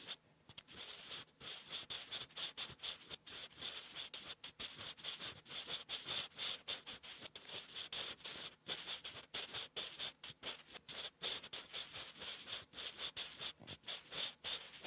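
A sharpened wooden graphite pencil held in the fingers writes cursive words on a flat sheet of lined writing paper, its graphite tip scratching the paper surface. The sound is a dry, bright scratching in quick, uneven strokes with short gaps, concentrated around 3.5 kHz and higher, with almost no low end. Each stroke stops almost at once, with no ring.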